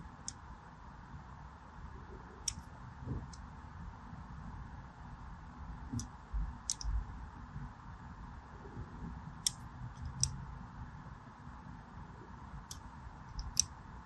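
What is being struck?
Striped bar of soap.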